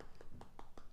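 Fingers tap on freshly baked choux cream puffs (bignè) from the air fryer, close to the microphone, giving four soft, quick, dull taps with a hollow, muffled low tone. The puffs sound hollow, and broken open they are empty and airy inside.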